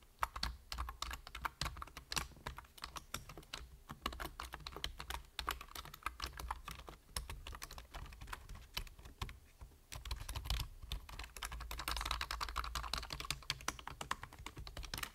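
Fingertips type rapidly on a full-size black plastic computer keyboard with a hollow body and plastic keys, producing a dense stream of short, sharp, bright clicks that die away almost instantly over a steady low hum. After a brief lull near the ten-second mark, the tapping returns louder and busier.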